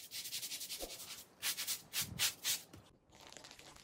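A small wet Persian-style woven pile rug of wool-type textile, about 1 m long, lies flat on a soapy plastic sheet while a kneeling man scrubs its pile back and forth with a handheld scrub brush. Quick, bright, hissing rubbing strokes come first, then several louder, fuller sweeps, a brief pause, and softer scrubbing to the end.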